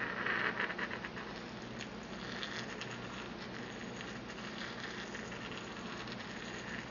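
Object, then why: Porcelain mortar and pestle. A small, empty white porcelain mortar is held in the hand while a porcelain pestle grinds and taps against the inside of the bowl. A brighter, louder scrape stands out in the first second, then a steady, gritty grinding patter continues with faint light taps throughout.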